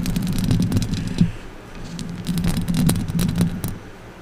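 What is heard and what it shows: Long orange acrylic nails on both hands scratch and rake the hollow steel mesh grille of a silver condenser microphone on its stand. The result is a dense, boomy low scraping rumble dotted with quick bright clicks, in two busy bursts with a quieter pause between them.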